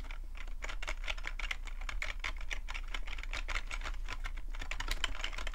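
Short-nailed fingertips tap steadily across the keys of a full-size black plastic computer keyboard with a hollow plastic body. The result is a rapid, continuous stream of dry, clicky clacks with a bright upper edge and almost no ring. A steady low hum sits underneath.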